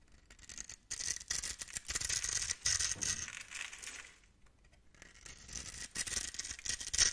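A blade tool scores and scrapes the surface of a solid, hand-sized bar of white Foxy soap held in the palm, crumbling off small white cubes. The sound is a dry, bright scratching and crunching, mostly in the high range, coming in uneven bursts. The bursts fade to a quiet lull midway and then pick up again.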